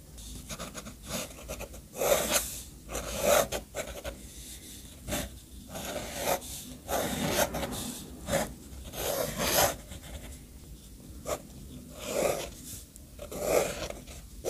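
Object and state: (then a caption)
Paper sheet. An orange fountain pen's steel nib scratches black ink lines around the words of a brown-ink mind map on a white sheet of paper. Dry, rasping strokes come in uneven bursts of bright, hissy scratching, separated by quieter pauses.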